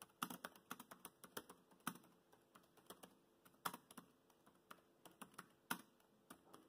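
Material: Plastic.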